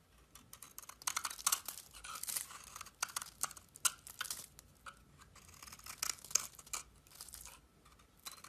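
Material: Soap.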